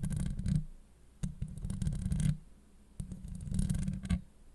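Long acrylic nail tips from both hands scratch a hollow steel mesh microphone grille. The result is bursts of dense, gritty scratching with a heavy low rumble and scattered bright ticks, separated by brief quiet pauses.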